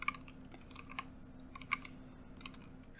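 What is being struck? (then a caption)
Plastic mechanical keyboard. Both hands type with their fingertips on a backlit tenkeyless Keychron K8 Pro mechanical keyboard with Gateron Pro Black switches, white and orange plastic keycaps and a hollow plastic case, resting on a dark desk. About ten quick, bright key-press taps and switch clacks, peaking near 2.2 kHz, ring out almost instantly. A faint steady low hum runs underneath.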